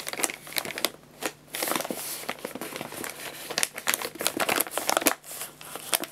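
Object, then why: Paper pet food bag. An empty paper guinea pig food bag is held up and crinkled and rubbed with the fingers. Dense, bright crinkling and crackling comes in irregular bursts, with short dry snaps and almost no low end.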